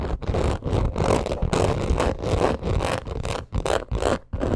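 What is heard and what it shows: Long acrylic nails scratch fast across a black crocodile-embossed leather purse. The result is a dense, irregular run of rough, raspy scraping bursts with a heavy low-end texture, broken by brief gaps.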